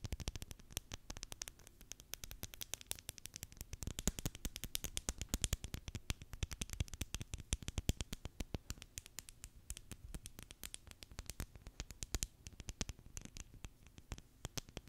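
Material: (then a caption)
Plastic tape. A full roll of clear Scotch plastic packaging tape with a cardboard core, a hollow ring, is held and turned in the hands while long nails tap and scratch its outer tape surface. The result is a quiet, continuous stream of rapid, sharp clicks and taps with a soft low thump beneath and bright, crisp scratching edges.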